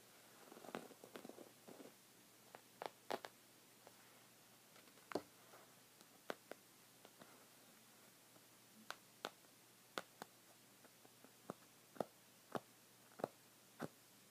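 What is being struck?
Folded woven fabric rug on a wooden table.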